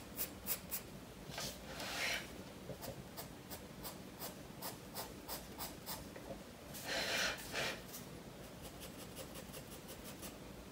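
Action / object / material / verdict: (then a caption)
scrape / graphite pencil on paper sketchbook page / paper / none. A graphite pencil scratches short, quick lines on the paper page of a spiral-bound sketchbook resting on a wooden desk while a fish drawing is shaded, and the sketchbook is briefly rotated. Crisp, bright ticks of the pencil strokes repeat throughout, broken by two longer, louder rasping scribbles. The sound is soft, dry and close, with faint low background hum.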